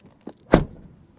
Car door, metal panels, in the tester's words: it sounds full when you close the door